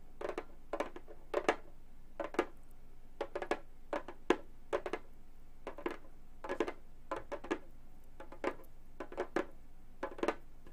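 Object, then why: Frame drum with synthetic head. A round, hollow Remo frame drum with a synthetic head is tapped and scratched with long gold metal finger claws. Short bursts of quick, dry clicking taps, often in pairs or small clusters, land against a faint steady low hum, with a warm mid-range body and very little ring. The result is a quiet, crisp, irregular pattern of tapping across the drumhead.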